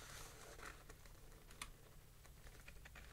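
Fingertips tap and touch the printed map page of an open spiral-bound 1964 paper street atlas, the thin paper resting over a solid stack of other pages, while pointing at place names. Soft, dry, quick taps and light brushing rustles sound over a low, steady background hum, with one sharper, brighter tap standing out midway.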